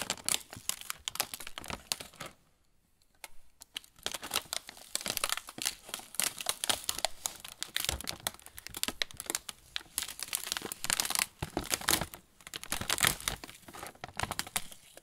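Fingertips rub and tap the film of a sealed plastic pretzel bag, with the pretzels visible through its window, while holding it. A dense, bright crinkling runs throughout, broken only by a brief quiet pause near the three-second mark.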